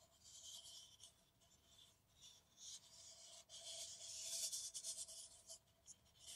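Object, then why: Paper coffee cup. An empty, hollow kraft paper coffee cup is held in the hands and scratched and tapped with long nails. The result is a bright, papery scratching and rasping with light taps, mostly in the high range with almost no low end. A faint steady tone sits near 700 Hz underneath.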